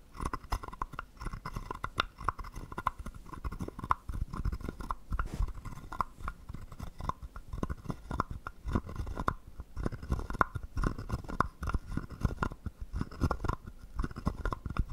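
A small hollow carved wooden frog guiro is held in the hand while a wooden stick scrapes and taps along its ridges. The result is a dense run of short, dry wooden clicks and rasps with a hollow tone near 1 kHz and heavy low thumps beneath, with no ringing between strokes.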